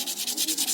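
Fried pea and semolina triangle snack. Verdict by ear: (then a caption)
Crisp. A deep-fried pea (matar) and semolina triangle snack is broken or rubbed close to the mic, giving a rapid series of dry, high-pitched crunches. About eight crackling bursts are heard in under a second, showing the snack is very crispy.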